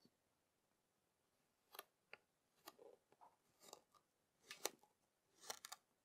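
A yellow plastic serrated knife presses and draws lines across three flattened, solid discs of kinetic sand in green, purple and pink. The result is a series of short, crisp, bright scraping crunches with quiet pauses between them at an uneven pace.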